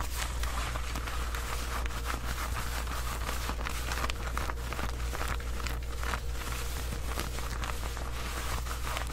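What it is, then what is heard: Denim shorts being scratched. Long white acrylic nails scratch along the waistband and front of worn black distressed denim jean shorts, a soft fabric garment. A steady, dry scratching rasp with bright fabric crackle continues throughout, over a constant low hum.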